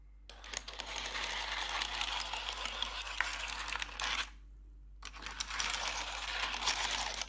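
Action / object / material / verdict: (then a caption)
tap / plastic computer keyboard / plastic / none. Metal claw nails tap rapidly across the keys of a black plastic RGB computer keyboard, making a dense stream of bright, crisp clicks. The tapping pauses briefly, then resumes at the same quick, uneven pace.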